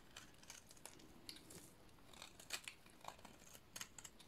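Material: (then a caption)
Soap. A utility-knife blade shaves and scrapes a solid white, dry bar of soap. The result is a quick series of short, dry, crunchy scraping cuts with bright, crisp edges that die away almost instantly over a quiet background.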